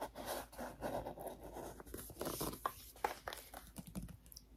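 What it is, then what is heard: Cardboard board book with glitter texture patch. Long painted nails scratch and tap the raised glitter patch on the coral page of a hand-held children's touch-and-feel board book with thick cardboard pages. Soft, dry, rasping scratches run in quick strokes, broken by a few sharper taps toward the end, all quiet and close.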